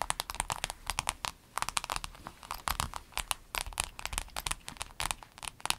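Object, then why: Flat empty vinyl pencil case. A flat, empty rainbow clear vinyl pencil case is tapped and scratched by both hands with long acrylic nails. Rapid, crisp clicks and crinkly scratches come in dense bursts, bright and sharp with almost no ring, over a faint low hum.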